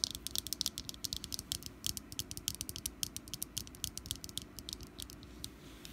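Long nails tap and scratch a small, solid orange jack-o-lantern wax candle with a wick. The result is a rapid, steady run of many sharp, bright clicks over a low, soft rumble.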